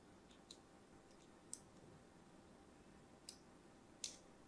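An orange and white striped solid soap bar is held in hand while a thin metal blade scratches lines into its surface. Four short, bright, crisp scratching clicks stand out, each fading almost at once, over a faint, steady low hiss.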